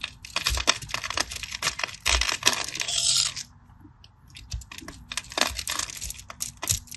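A knife cuts and flakes cubes off a solid cream bar of soap, held in the hand over a red mat, along a crosshatch already scored into it. Many quick, crisp, bright scratches and snaps come in a dense run, building into a longer rasping scrape before a brief near-silent pause. More short, sharp cuts follow.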